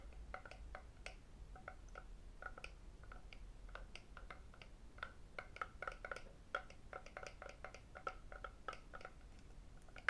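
A red lacquered wooden octagonal tray, medium size, hollow and empty, is held in the hands and tapped by fingertips and metal rings on its sides and underside. Dozens of quick, dry, clicky taps come in irregular bursts, some with a brief hollow ring, over a quiet low hum.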